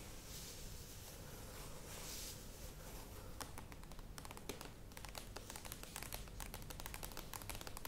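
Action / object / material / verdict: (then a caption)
tap / plastic yogurt tub / plastic / none. A medium plastic yogurt tub with a clear lid stands on a table while long acrylic nails scratch its printed sides, making a soft, steady, bright scraping hiss. After about three seconds the nails switch to quick, irregular taps: dry, hollow clicks that ring only briefly, layered over continued light scratching. The whole clip stays quiet.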